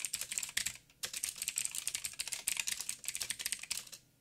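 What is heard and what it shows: Fingertips type steadily on a backlit mechanical keyboard with plastic keycaps and blue clicky switches. The result is a rapid run of sharp, bright clicks with a brief pause just before the one-second mark, after which typing resumes and fades out at the end.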